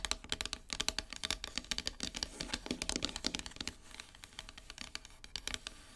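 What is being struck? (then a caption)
Painted wooden heart plaque. Long silver nails rapidly tap across the flat surface of a solid heart-shaped wooden plaque painted matte black. The taps are short, dry and bright clicks with almost no ring, running in a quick, uneven patter with a faint scratchy texture. They grow softer and sparser toward the end.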